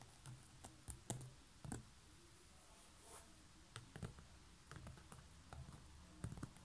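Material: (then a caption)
Woven straw. Long natural nails tap quickly across a large, hollow, light lid of a coiled woven straw (seagrass) basket with a knob top. About a dozen soft, quiet taps come in uneven bursts, each a dull low thump with a brief bright click on top that dies away almost at once.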